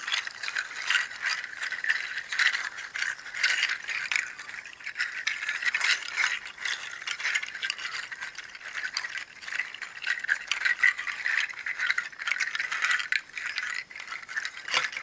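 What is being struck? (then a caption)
Dried seed shells strung on twine. Hollow, empty, dried pangi seed shells tied together on twine are grasped and jostled by fingertips and nails. The result is a continuous, dense clacking rattle of many quick, dry clicks centered in the upper mids around 2 kHz, with bright highs and no low end.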